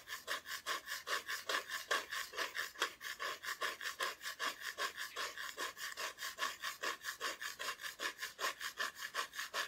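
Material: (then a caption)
Plywood. Long nails scratch back and forth across the raw wood back of a solid, flat, thin plywood Christmas decoration cut-out. About 34 quick, rhythmic rasping strokes are heard, each a bright, dry scrape centered around 1 kHz and up, with no low-end body. Faint breathing may be audible underneath.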